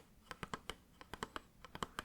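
A cardboard light bulb box is tapped with the pads of the fingers, giving twelve quick, dull, muted taps in an uneven rhythm that die away almost instantly. This gives a different sound from tapping the same box with the nails.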